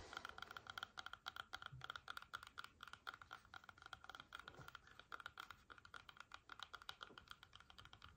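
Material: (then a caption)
Apple skin. Long nails tap and scratch quickly across the skin of a whole, solid red apple as it is held and turned in the hands. The result is a fast, steady run of crisp, bright clicks, close to the sound of typing on a keyboard, with quick scratches between the taps.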